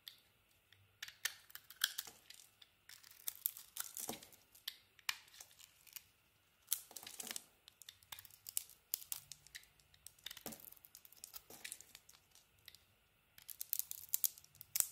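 A metal blade carves and scrapes a solid striped pink and red bar of soap with a white core. Quiet, bright, crisp scraping and shaving sounds come in short bursts and clusters, separated by near-silent pauses, with almost no low end.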